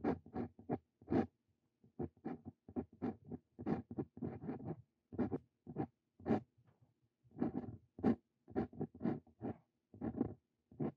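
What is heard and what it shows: A Brause Cito Fein steel-nib dip pen writes text on a lined paper sheet, making repeated short, dry scratching strokes. The strokes come in quick bursts separated by brief pauses, each one a crisp scratch with a bright, papery hiss over a faint low tone.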